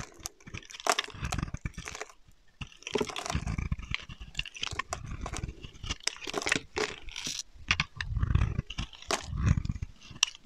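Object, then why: Bar of soap. A solid rectangular dark grey-black soap bar embossed "Plant Based Perfume Soap" is held in one hand while a utility knife blade scrapes and cuts shavings off its surface. Dense, dry crunching and scraping comes in uneven bursts, with deep low rumble under bright, crisp crackles and short sharp clicks.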